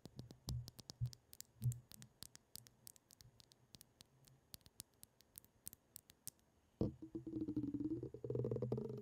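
A pink liquid-filled glass facial ice globe, a round ball with a clear glass handle, is held in the hands in front of the mic while long acrylic nails tap and scratch the glass. Sharp, bright clicks come in a quick, uneven patter over faint low thumps. Near the end the nails switch to a denser, continuous scratching that brings out a soft, wavering ringing tone.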